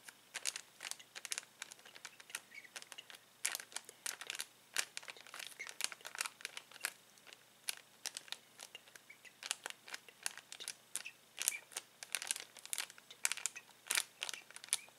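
Fingers squeeze and crinkle a clear plastic bag full of uninflated latex balloons. Quiet, bright crinkling comes in dense bursts of sharp, high crackles that die away almost instantly. It continues steadily for the whole clip with almost no low end.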